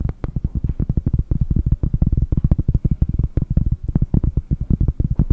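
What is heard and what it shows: A round solid cork disc, held in both hands close to the microphone, is tapped quickly with fingertips and long nails. The result is a rapid, uneven stream of short, dull, deep thumps with very little ring and almost no high-end brightness.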